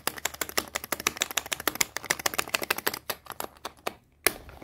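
Long painted nails tap and scratch quickly on a small, hollow black plastic KIKO lipstick tube held in the hands. About 33 sharp, bright clicks land in rapid succession with barely any ring, broken by a brief pause near the end before one last crisp tap.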